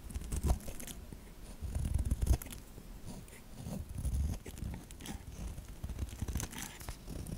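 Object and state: Bar soap being scraped.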